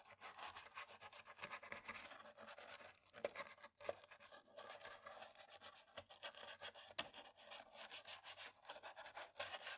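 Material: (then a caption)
Plastic. A cotton swab on a thin stick scrubs and rubs between the black plastic keys of a laptop keyboard. The result is a quiet, continuous run of rapid, dry scratching and brushing strokes, bright and hissy with almost no low end.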